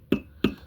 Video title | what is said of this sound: Talking on boomers telling the younger generations to step up and comparing buffalos and maples 🍁 | this is the sound silver makes. See, like that's how silver should sound when it when you tap it together.